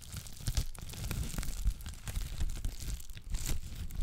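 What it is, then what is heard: Plastic bubble wrap. A clear plastic bubble wrap sheet held in both hands is scratched, crinkled and popped with long black nails. Dense crackling and crinkling run throughout, with sharp, bright snaps and a heavy low rumble underneath.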